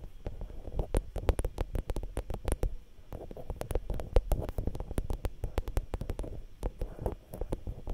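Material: Metal mesh.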